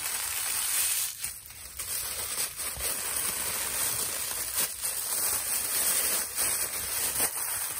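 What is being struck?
Thin plastic carrier bag.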